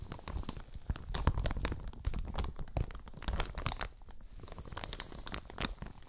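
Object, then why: Thin plastic shower cap. A thin, flexible, hollow plastic shower cap with an elastic edge, printed pale green and yellow, is held in both hands next to the microphones and crumpled and crinkled with fingertips and nails. It makes a steady run of dense, crackly crinkles with sharp bright snaps, over soft, low, muffled rustling thumps that carry most of the energy.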